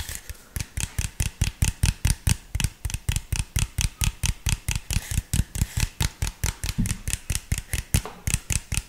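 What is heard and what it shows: An empty, hollow, clear plastic (PET) soda bottle with an orange cap and label is tapped and crinkled with fingertips and nails. About forty quick, short taps come in a fast, uneven rhythm. Each one pairs a low, hollow thump with a bright, crackly click and dies away almost at once.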